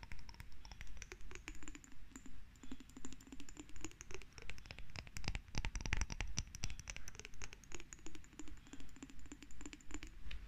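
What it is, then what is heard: Glass jar tapped and scratched with nails. A small lidless, hollow, cylindrical glass jar with a bluish tint is held in both hands and tapped and scratched with long red nails. Quick, dry taps and scratching strokes come in steady, repeating swells, with a faint bright ringing tone over a soft low rumble. Each tap dies away almost at once.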